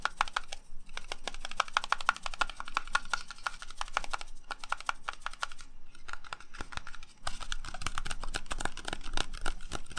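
A whole, solid green Granny Smith apple is held in one hand and tapped and scratched with the fingertips and short nails of the other hand. This produces a rapid, steady stream of short, dry, crisp clicks and scratchy ticks with a faint midrange tone. The taps soften briefly near the middle before picking up again, louder and brighter.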